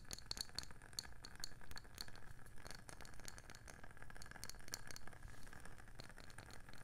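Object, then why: Wooden candle lid. Long painted nails tap quickly on a round wooden candle lid with a printed label facing up. The result is a rapid run of short, dry clicks with bright ticking edges over a steady low rumble, each tap dying away almost at once.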